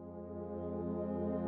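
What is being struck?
Nothing is struck.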